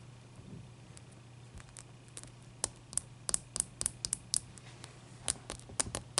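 Long painted nails tap and scratch a single large, clear, solid ice cube held on a white towel. A series of short, crisp, bright clicks and ticks, with lighter scratchy taps between them, sits over a quiet, steady low hum. Each tap dies away almost instantly.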